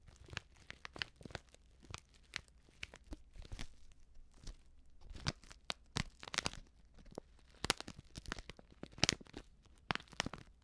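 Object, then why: Plastic foil sachet of dry soup mix. Long manicured nails and fingertips crinkle and scratch a small, flat Betty Bossi Fladli instant soup packet made of plastic foil and filled with dry contents. Sharp, bright crackles and scratchy rustles come in quick irregular bursts over a quiet background. The dry contents shift faintly inside the foil.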